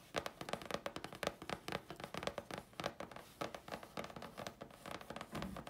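Long fingernails scratch and tap the face and edge of a thin, flat grey chipboard sheet. A quick, uneven run of sharp, dry clicks with a woody mid-range knock mixes with brief scratchy rasps, each hit dying away almost at once.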